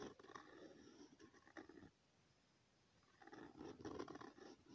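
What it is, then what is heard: Pen scratching on lined paper. A ballpoint-type pen tip is drawn in continuous circles across a thin, flat sheet of lined notebook paper resting on a hard surface, giving a soft, rhythmic scratching. The scratching runs for about two seconds, pauses in near silence for over a second, then resumes slightly louder until the end.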